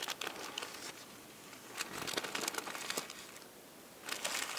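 Thin purple tissue paper, lying in a flat layered stack on a table, is pressed, rubbed and crinkled by fingertips with long painted nails. Soft, bright crinkles and crackles come in three bursts separated by quieter rustling.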